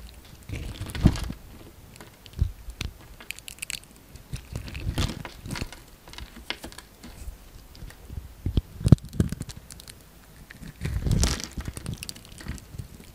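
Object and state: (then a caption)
Bar of soap being scraped. A utility knife blade scrapes a solid orange bar of soap with a scored surface, held in the hand, so small chips fall off. Soft, dry crunching and crumbly scraping comes in bursts, with louder strokes near the start, middle and end. The sound is mostly low and muffled, with brief crisp edges and no ring.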